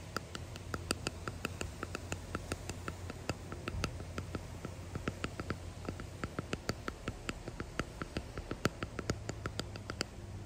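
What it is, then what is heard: Resin hexagon box tapped with nails. A small clear resin hexagon box with pressed flowers and gold flakes embedded in it is tapped and scratched close up with long painted nails and fingertips. Rapid, irregular dry clicks with bright, short ticks mix with soft scratching, and each tap dies away almost instantly. A steady low hum runs underneath.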